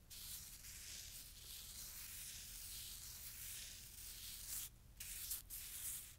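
A handful of fresh, soft, granular white snow is rubbed between bare fingers and palms above a snow pile resting on a towel. A slow, steady hiss of crumbling and rubbing fills the clip with bright, high texture and few sharp onsets. It briefly quiets near the end before the rubbing resumes.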